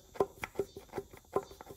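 On a Yamaha Pro 50 two-stroke outboard, the aluminum piston in the damaged middle cylinder (60 psi compression, aluminum smeared on the cylinder wall) is brought to top dead center and wiggled. It gives a series of light, dry clicks and knocks centered in the mid range. The rocking shows the piston is loose and worn in the bore.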